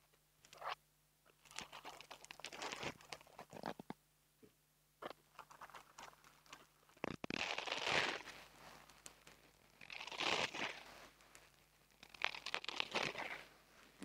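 Fingertips and long nails rub and squeeze a small black foam microphone windscreen. Soft, bright scratching and crinkly crunching come in uneven bursts, with a few louder squeezing swells between quiet pauses.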